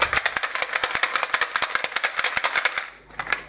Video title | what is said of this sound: Un EXCELLENT TOUR DE MAGIE - Explication | ça fait beaucoup plus de bruit. C'est normal parce que les D prennent moins de place et donc font beaucoup plus de bruit.